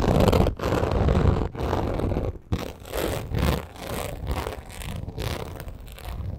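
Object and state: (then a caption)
Croc-embossed leather purse. Long acrylic nails scratch and tap rapidly across a black crocodile-embossed leather purse. The result is a dense, rough, scraping rustle weighted toward low tones, coming in quick bursts broken by brief pauses, with softer, sparser strokes toward the end.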